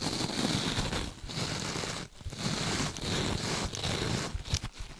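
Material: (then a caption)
Mesh and foam. A rectangular scrub sponge with a beaded or glittery mesh cover and a soft foam core, held in gloved hands away from the mic, is scratched and squished with long nails. Dense, crinkly, crackling scratches run almost continuously with a bright hiss on top and a soft low rumble underneath. The sound dips briefly between strokes.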